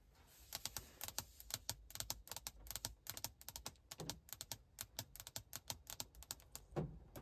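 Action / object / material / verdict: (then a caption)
tap / glass car touchscreen display / glass / none. Long acrylic nail tips tap repeatedly on the flat glossy glass of a large vertical car infotainment touchscreen mounted in a plastic bezel. Dozens of quick, bright clicks come in fast, uneven bursts with almost no ring, over a faint low background hum.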